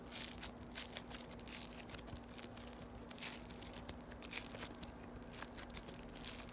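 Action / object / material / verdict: scrape / foam-bead slime squeezed between fingers and nails / polystyrene beads / none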